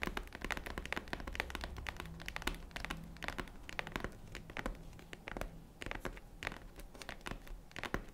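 Fingernails rapidly tap and scratch the front of a tan faux-leather zippered jewelry case near its metal zipper. Quick, dry taps and scratchy rasps with bright clicky edges sit over a steady low hum, each tap stopping almost at once.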